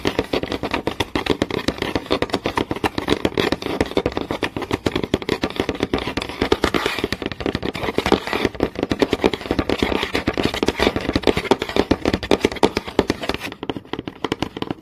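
Long nails tap fast on a flat, solid wooden board with visible grain, making a steady stream of quick, dry clicks. Each tap is short and clipped, with a hollow midrange tone and a light, bright tick on top. The rapid tapping continues at an even level throughout.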